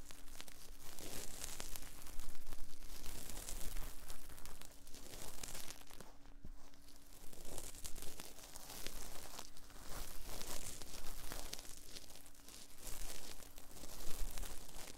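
Cotton swabs held in both hands rub and scratch inside the ear canals of the soft silicone ear molds on a binaural 3Dio microphone, solid rubbery ears mounted on a black box. Close, continuous scratchy rustling and crinkling swells and fades over a low steady hum, with bright, dense friction texture throughout.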